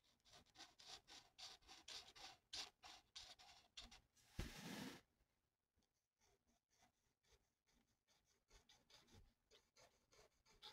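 A felt-tip marker held in the fingers colors a mandala on a thin, flat paper coloring sheet, its tip rubbing and scratching across the paper. Quick, bright, uneven scratchy strokes repeat steadily, with one louder, broader rasp about midway. The strokes then turn softer and fainter.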